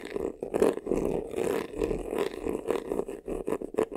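Fingertips and nails scratch quickly across the front of a hollow black crocodile-embossed faux leather vanity case, near its top edge. The result is a run of fast, rough, textured scratching strokes with a hollow, mid-pitched body and a short ring-out after each pass.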